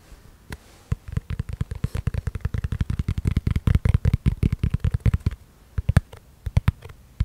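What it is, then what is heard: Plastic food container tapped. Fingertips and nails tap and scratch a small, round, hollow clear plastic food container with a lid, held in the hands. Dozens of quick, dull, low-pitched taps come in fast, uneven bursts, with faint scratchy brushing between them. The tapping thins out after about five seconds, leaving only scattered sharp knocks.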